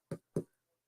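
Two knocks on the hard front panel of a new back brace, worn for spinal stenosis and also fitted with a hard panel in the back. Each knock is a short, dull thud with low-frequency weight and a very quick decay.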